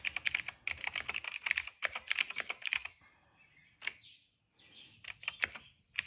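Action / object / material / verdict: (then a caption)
tap / plastic mechanical keyboard / plastic / none. Fingertips of both hands type steadily on a retro-style cream plastic mechanical keyboard with dark and purple plastic keycaps and a hollow case, resting on a rug. Dense bursts of sharp, bright, clacky key taps run for about three seconds, then give way to a quiet stretch with a few soft, isolated sounds. A final short flurry of crisp taps follows.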